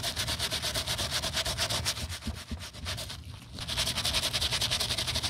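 A green plastic toothbrush, held in a gloved hand, scrubs back and forth across the cream solid-rubber midsole of an empty navy canvas sneaker that has a little cleaning paste on it. It makes a bright, hissing, scratchy rasp in rapid, fairly steady strokes, about 160 per minute. The scrubbing softens briefly just past the midpoint, then picks back up.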